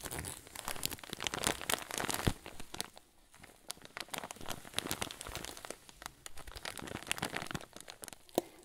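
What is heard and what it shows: A clear zip bag full of white fluff is held upright while thumbs and fingers press and crinkle it. Dense, bright crackling crinkles fill the clip, with a sharp louder snap a little after two seconds and another near the end, and a quieter, sparser stretch around three seconds.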